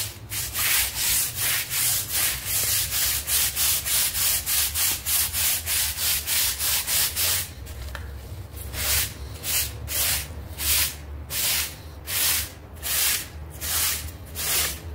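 A hand scrubs the fibers of a damp, half-round synthetic fiber doormat lying on tiles, working back and forth with a yellow-red plastic scrub brush. Quick, steady rasping strokes give a bright, hissy scrubbing sound over a low steady hum. About halfway through, the strokes become slower and more spaced out.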